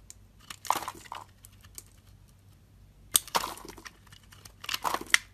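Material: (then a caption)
Soap. A metal utility knife blade scrapes and carves soft curls from the surface of a hand-sized, solid, pale green soap bar held in the hand. Crisp, bright, crumbly scraping and crackling comes in short bursts, grouped into clusters separated by quiet pauses.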